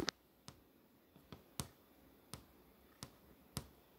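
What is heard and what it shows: Long nails tap on the flat glass touchscreen display over the movie tiles, producing a series of sharp, dry clicks spaced apart with quiet gaps between them. Each tap is brief with almost no ring, giving a bright, crisp tick.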